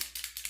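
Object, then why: Plastic spray bottle with a mixing ball. A plastic Revlon ColorStay Set setting mist bottle is shaken before spraying, and the mixing ball inside rattles. About four quick, bright clicks sound, one after another, with almost no low end.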